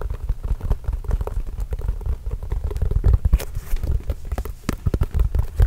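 A full-size orange signed Spalding leather basketball, hollow and inflated, is held and turned close to the microphone while being tapped with the fingertips. Rapid, uneven fingertip taps produce soft, deep, hollow thumps that die away almost instantly, with faint scuffing between them. The result is a steady, low, muffled drumming that continues throughout.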